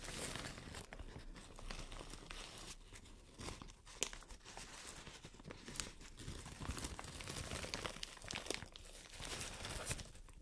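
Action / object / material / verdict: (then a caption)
scrape / thin plastic shower cap / plastic / none. Long nails crumple and scratch a white plastic shower cap with a green print, making a steady stream of dry crinkles and crackles. The scratches add bright, hissy streaks, and occasional sharper snaps stand out over a soft low rustle.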